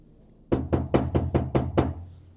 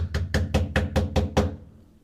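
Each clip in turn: First: bare undamped sheet-metal cab panel. Second: sheet-metal cab panel deadened by vibration-damping sheet.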